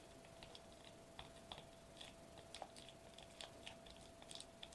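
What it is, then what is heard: Foil bubble wrap tapped. Fingertips and short nails tap and press a flat sheet of silver metallized plastic bubble wrap lying on a white table, possibly crinkling it. The result is a quiet, irregular series of sharp, bright clicks and light crackles that die away almost instantly, over a faint steady hum.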